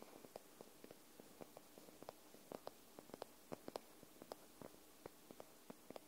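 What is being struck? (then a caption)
Paperback book, paper. Long nails tap the top edge and spine of a white paperback book held sideways. Quiet, dry, short clicks land unevenly over a faint steady hiss, with no ring after each tap.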